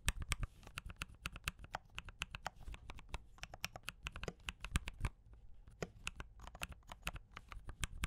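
Fingertips type, mostly with one hand, on a D84 mechanical keyboard with brown switches and cream and red plastic keycaps. It makes a quick, uneven run of short, bright clicks and clacks that die away at once, over a steady low hum.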